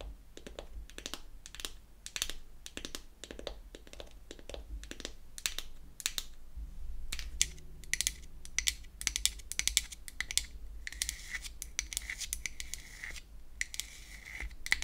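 Long acrylic nails tap and scratch the lid of a small, round, pink-painted wooden foundation compact, which is hollow and opened on its hinge. Rapid, dry, bright clicking taps come in quick clusters over a faint low hum. In the second half, a steadier scratchy rasp runs between the taps.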